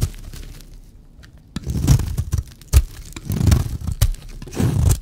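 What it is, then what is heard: Dry bar soap being cut. A blade cuts and scrapes a solid, dry white bar of soap. After a quiet start, low, crunchy scraping and tearing strokes come in bursts, with a few sharp brighter cuts standing out.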